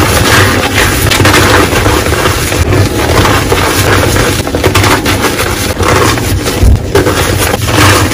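Teal reformed gym chalk blocks in a bowl are crushed into powder and lumps by bare hands and fingers, then rubbed and squeezed through the crumbled chalk. The result is a steady, dense crunching and crumbling with a heavy low thump underneath and occasional sharper crushes, all at a consistently loud level.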